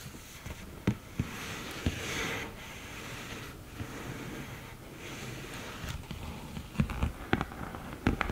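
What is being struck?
Cardboard eyeshadow palette with mirror.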